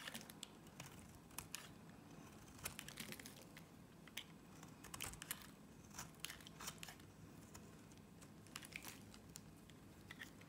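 A box-cutter blade slices long thin shavings from a solid pink Nivea soap bar held in long-nailed hands. The result is a quiet run of crisp, bright scraping crackles and short clicks, each dying away almost instantly over a soft low hum.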